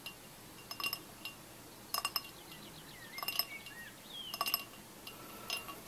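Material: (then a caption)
Glass. A tall, clear glass pint glass with an etched logo, about half full of orange fizzy drink with ice, is held in one hand and tapped on its side with the fingertips and nails of the other hand. The taps come in short, irregular clusters of bright, high clinks that die away almost at once. Faint, bird-like chirps sound in the background.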